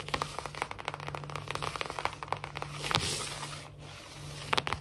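Long fingernails of both hands scratch and tap quickly across a large, solid, glossy wood-look laminate floor. Dense, sharp, bright clicks and crackly scrapes sit over a steady low hum, with a brief broad hiss around the middle. The taps are very short and dry, with almost no ring.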